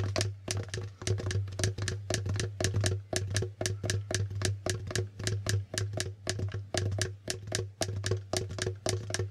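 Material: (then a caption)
Plastic. Fingertips of both hands tap and flip the plastic letter tiles and figure tiles on a plastic Hangman board game. A rapid, irregular series of short, bright clicks and clacks plays over a steady low hum.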